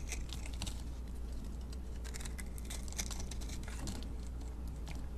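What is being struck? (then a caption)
Bar of soap cut with a metal blade. A metal blade cuts small sticks off a solid mint-green bar of soap held in the hand and scrapes its surface. The result is a quiet, continuous run of crisp, crunchy scraping and flaking ticks with bright edges, over a steady low hum.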